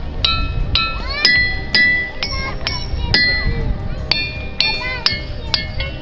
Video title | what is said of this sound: পাথর তো নয়, যেনো পিয়ানো বাজাচ্ছে - আজকের নিউস - Ringing Rocks ।Lithophone। Petoskey Stone। Possible | সাধারণ পাথরকে হাতুড়ি কিংবা ভারী কিছু দিয়ে আঘাত করলে সেটি সাধারণ ভাঙার মতো কিংবা ধাক্কার মতো শব্দ করে, কিন্তু এই পাথরকে আঘাত করলে তা শব্দ করে বাদ্যযন্ত্রের মতো।